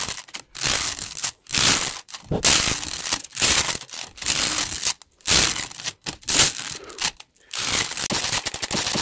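A rainbow plastic slinky, a hollow coil spring toy about 10 cm across, is held in both hands and stretched, shaken and collapsed close to the mic, so its coils clack and rattle together. The sound comes in fast, irregular bursts of bright, crinkly rattling separated by brief near-silent gaps, with very little low end.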